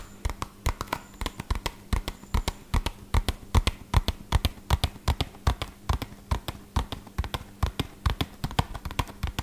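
A small, hollow, red-and-purple printed cardboard medicine box is held in one hand and tapped quickly with the fingertips of the other hand. About 49 short, dull, hollow taps come in a fast, uneven rhythm, mostly low and thudding with little ring, over a faint steady low hum.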